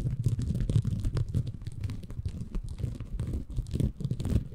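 A small, green, porous bamboo fiber sponge, soft and compressible, is held in both hands above a Tascam recorder while fingertips scratch and squeeze it. The result is a dense, low, muffled crackling and rustling made of many quick, overlapping scratches with brief brighter flecks. It stays close and thick throughout with almost no ring.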